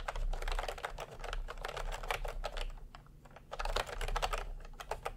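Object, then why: Plastic round-key keyboard. Steady fingertip typing with both hands on a plastic retro round-key keyboard. The keys give quick, dry clacks in a dense, even rhythm, with a brief lull around the three-second mark before the typing picks back up. A low, steady hum sits underneath.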